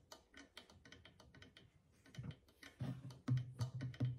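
A small hollow clay drum with a stretched goatskin head, held at the side, is tapped on the skin near the far rim with long fingernails. Quick, uneven clicking taps start faint and bright, then grow louder toward the end, where each tap brings out a short, low, hollow thump with a brief ring.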